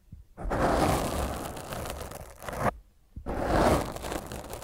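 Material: Foam.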